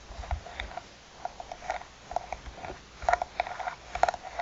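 Long nails tap the top and side edges of a closed, hollow black hard glasses case with a croc-textured faux-leather cover. The result is a quiet, irregular series of short, dry, clicky taps with a hollow mid-pitched tone and almost no ring.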